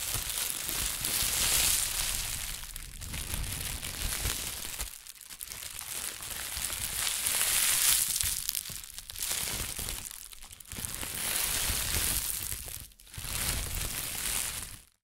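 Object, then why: Thin plastic shopping bag. A thin, empty white plastic shopping bag has its deflated handle section crumpled and twisted between the fingertips of both hands. The result is a continuous bright, crackling rustle with soft low rumbles beneath it. It swells and eases in waves, with brief near-silent dips between bursts.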